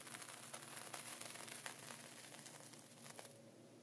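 A dark wooden pointer traces and scratches diagonal lines through a flat layer of sea salt inside a clear plastic ziploc bag, while a hand holds the zip edge. Soft, bright crinkling and gritty scraping continue throughout, with a few sharper ticks standing out.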